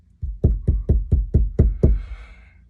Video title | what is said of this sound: Jeep headliner install | it's still going to be a hollow sound. It's fiberglass